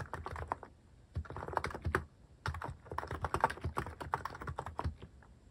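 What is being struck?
Mechanical keyboard with plastic keycaps.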